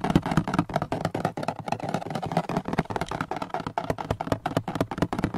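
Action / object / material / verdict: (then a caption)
scrape / hard plastic car seat-back panel / hard plastic / none. Fingertips rub and scratch across the textured surface of a large, hollow, gray hard-plastic panel with a storage pocket on the back of a car front seat, recorded close up. A rapid run of short, dry, hollow scrapes and taps repeats throughout, each dying away almost at once.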